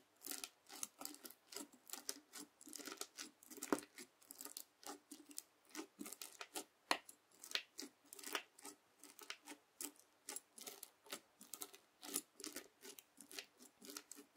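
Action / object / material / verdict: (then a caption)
scrape / bead slime (floam) with plastic beads, worked with a plastic fork / slime, plastic beads / none. A white plastic fork repeatedly pokes and scrapes the edge of a flat red slime (floam) packed with plastic beads on a white table. The result is a quiet, steady run of short, crisp, crackling bursts with bright, high-reaching texture and no low end. Each burst stops almost instantly.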